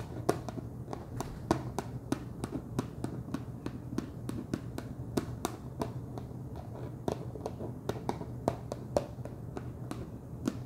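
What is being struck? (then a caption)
Plastic screw lid on a snack jar. Fingertips and nails tap the top of a wide orange plastic screw lid on a large clear plastic jar full of cheese puffs. Short, dry, clicky taps come in a steady, uneven run, each dying away almost at once, over a constant low hum.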